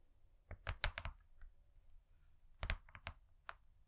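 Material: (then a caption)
Cardboard. Long nails and fingertips tap a thin, flat cardboard cake board laminated in gold foil. A quick run of light, dry taps is followed by a pause and then a second group. Each tap is a short, bright click over a soft low thump that dies away almost at once.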